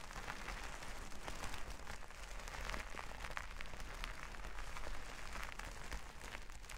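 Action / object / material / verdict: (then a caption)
scrape / plastic sequin fabric / plastic / none. Long nails scratch and rub across a flat sheet of plastic sequin fabric, making a steady, dense crackling and rustling with many small bright clicks over a low rumble. The texture stays continuous and even throughout.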